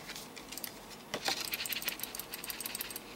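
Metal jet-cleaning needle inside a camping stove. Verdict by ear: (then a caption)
Loose. A multi-fuel camping stove, an Optimus Polaris, is shaken, and its built-in metal jet-cleaning needle rattles inside the jet. Quick, light, high-pitched metallic clicks and ticks are heard. The rattling shows the needle is present and moves freely.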